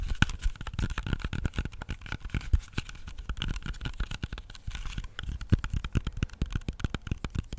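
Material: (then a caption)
Fruit skin. Fingernails tap and scratch the smooth skin of a whole, solid, hand-sized red-yellow apple held near the microphone. The result is a rapid, steady run of short, dry, thumpy taps with a soft scratchy texture between them. The taps die away almost instantly.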